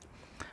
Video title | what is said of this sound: REALME GT NEO (REALME X7 MAX) Full Honest Review After 3 Weeks Usage! Mediatek Dimensity 1200! | There's no hollow feel when you tap it.